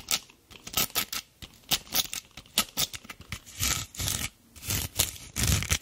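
Long black nails scrape and scratch a dried, hard natural loofah head mounted on a wooden brush handle; its rough, fibrous surface gives off a rapid series of dry, bright, crackly rasps with some soft low thumps underneath. The strokes come in short bursts and a few longer drags, each stopping quickly with almost no ring. Product packaging sits nearby untouched.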